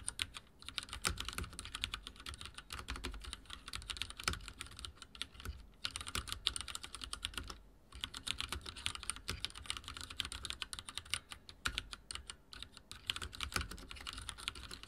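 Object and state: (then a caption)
Plastic mechanical keyboard. Both hands' fingertips type rapidly on a full-size backlit mechanical keyboard with dark plastic keycaps and linear switches, resting on a wooden desk. A dense, steady stream of short, bright plastic clacks and taps carries on throughout, broken only by brief pauses around six and eight seconds. Each keystroke dies away almost instantly.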